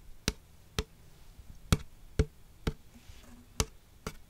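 Long acrylic nails tap the side of a large, hollow McDonald's waxed-paper soda cup with a plastic lid and straw, held upright. Seven short, dry, bright ticks sound at an uneven pace, each with a soft low body and almost no ring, over a quiet background.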